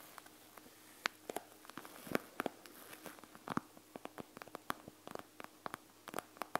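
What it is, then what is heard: Plastic gel bead eye mask. Long nails tap and scratch across a panda gel bead eye mask with a plastic shell and gel beads, lying flat on a table. About two dozen quick, dry, bright clicks land unevenly over a soft scratchy hiss, each dying away almost instantly. The level stays quiet, with a faint steady low hum underneath.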